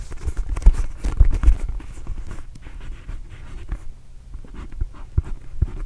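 A small red and blue Arizona rubber basketball, hollow and inflated, is held near the microphone and tapped and scratched with the fingertips and nails. Irregular, dull, low thumps ring briefly inside the ball, mixed with soft scratchy rustling. The result is a quiet, bassy stream of muffled taps.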